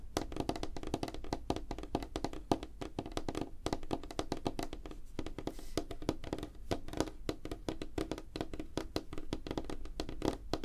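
Fingertips and nails of both hands tap rapidly on a flat, solid, light-colored wooden tabletop. A dense, continuous run of short, dry knocks fills the clip: soft low thuds with a woody knock around 300 Hz, topped by faint bright clicks from the nails. Each tap dies away almost instantly.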